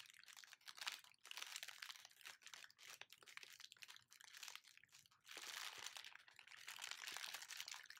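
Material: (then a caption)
Plastic. A thin, empty, flexible clear plastic film wrapper is held up and crinkled and squeezed with fingers. It makes dense, bright crackling and crinkling in quick bursts with short pauses between. The crinkling grows fuller and more continuous in the second half of the clip.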